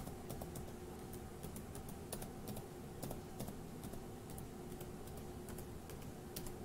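A single index fingertip taps individual plastic keys on a dark grey laptop keyboard, producing quiet, irregular, bright clicks. The clicks sit over a steady low hum and background rumble.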